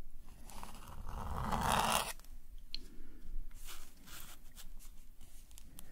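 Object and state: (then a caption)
Metal pen nib scratching on paper. A metal calligraphy nib scratches ink swirl lines across a black paper sketchbook page resting on a table. A long, continuous, papery scratch builds for about two seconds, then drops off into a run of quieter, shorter scratchy strokes with a bright, hissy edge.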